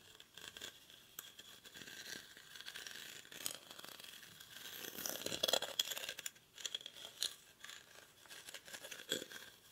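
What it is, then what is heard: Woven rattan basket. Short fingernails scratch the weave of a hollow, cylindrical woven rattan/reed basket held in both hands. The result is a quiet, dry, bright scratching and crackling with almost no low end, rising and falling in short bursts that swell louder near the middle.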